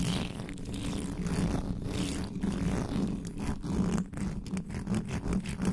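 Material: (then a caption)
Metal mesh. Fingernails of both hands scratch fast and hard across the uncovered black metal mesh grille of a standing microphone. The result is a dense, continuous rasping scrape with a low hum-like body around 180–200 Hz, brief bright flicks, and short dips between strokes.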